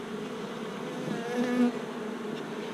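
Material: Nothing is struck.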